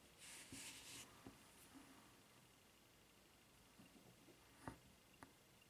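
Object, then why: Rubber flip-flop footbed. Long nails scratch and tap on the white rubber footbed of a flip-flop with a red strap. Bright, hissy scratching bursts open the clip, followed by quiet rubbing and a couple of sharp taps near the end.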